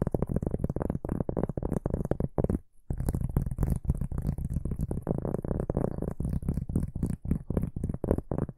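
A large, flat, solid round cork board held upright is scratched with the fingertips and short nails of both hands. The result is a dense, rapid run of dry, low, rumbling scratches with a faint bright hiss on top. There is a brief pause just before the three-second mark.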